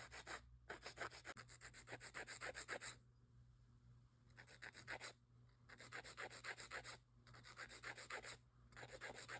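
A gloved hand rubs a grey emery nail file back and forth across the solid surface of long square acrylic nail extensions. Quick, bright, dry rasping strokes come in bursts, with a longer quiet pause near the middle and brief gaps between the later bursts, over a steady low hum.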